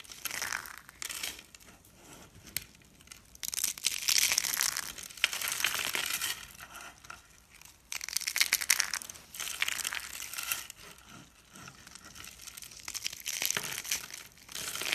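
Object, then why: Rolled soap curls. Pink and blue rolled dry-soap curls, solid and brittle, are broken apart with the fingers and crushed in the palm. Dense, bright, dry crunching and crackling comes in uneven bursts, with louder surges of crumbling between quieter stretches of fine crinkling.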